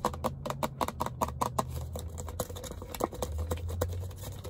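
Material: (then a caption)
Waxed paper. Fingertips tap quickly on a large red waxed-paper fast-food soda cup with a plastic lid and straw, apparently holding a drink, held in the hand. The taps are short, dry, hollow knocks with very little ring, falling into a fairly steady rhythm at first and then becoming looser and more scattered over a low, steady rumble.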